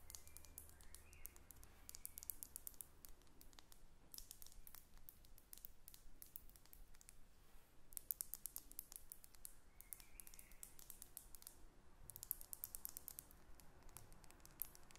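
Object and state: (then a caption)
Glass perfume bottle. A small faceted glass perfume bottle with a metal cap, held in the hands and partly full, is tapped and scratched with long red acrylic nails. Quiet, rapid bursts of crisp, high-pitched clicks and taps come in clusters, with softer scratching between them over a low background hum.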